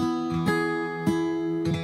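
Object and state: Nothing is struck.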